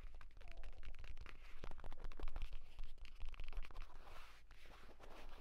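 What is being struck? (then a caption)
Padded leather tablet case. Fingertips rapidly scratch and tap across the cover of a flat, padded purple grained-leather tablet folio case, next to the spine crease. The result is a quiet, irregular run of dry scratches and soft muffled taps over a low, dull rumble.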